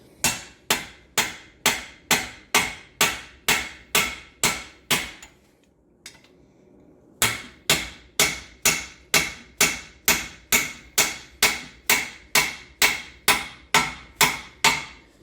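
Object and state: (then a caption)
Fully seated axle bearing. A new steel axle bearing, pre-lubed with gear oil, is driven into a Ford 8.8 axle housing with a bearing driver and hammer: about 30 sharp, ringing metallic blows at a steady pace, with a short pause near the middle. The tone of the blows changes once the bearing is fully pounded in, and a couple of extra taps confirm it is seated all the way home.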